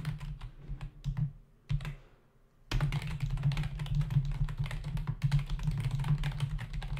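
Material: Plastic.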